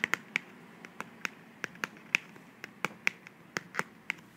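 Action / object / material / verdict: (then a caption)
tap / small cardboard box / cardboard / none. Long manicured nails tap and scratch along the sides and flaps of a small, slim, hollow white cardboard box held in the hand. Sharp, dry, bright clicks come at an uneven pace with almost no ring, over a faint hiss and light scratching.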